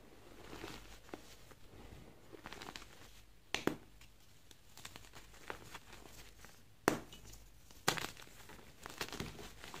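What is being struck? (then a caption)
Magnesium carbonate gym chalk block. Small, solid white BSN magnesium carbonate gym chalk blocks are held in both hands and crushed, squeezed and rubbed with bare fingers into powder over a heap of loose chalk. The dry, crumbly material gives a quiet, steady crinkling and gritty crunching, broken by a few sharp, bright cracks as pieces snap apart. The chalk breaks down into loose powder.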